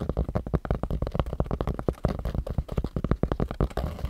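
Fingernails scratch a pink cotton baseball cap held close to the mic, raking across the fabric and its embroidered logo patch. A rapid, steady series of short, dull scratches sounds close and heavy in the low end, with a soft rumbling texture and very little bright edge.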